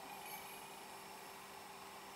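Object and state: Nothing is struck.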